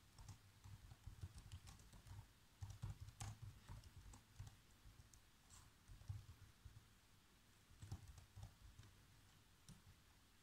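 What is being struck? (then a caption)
Plastic laptop keyboard keys. Fingertips type on the black plastic keys of a laptop keyboard, producing a steady stream of quick, soft key taps. The taps are dull and thumpy, with faint bright clicks on top and only a brief ring after each press, arriving in uneven bursts with short pauses between them.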